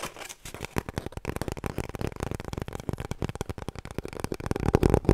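Long nails scratch and tap quickly on an empty, hollow cardboard kitchen roll core, held upright and then sideways. The sound is a dense, uneven stream of dull, low, hollow taps with dry scratching between them. Each tap dies away almost instantly, and the taps grow a little louder toward the end.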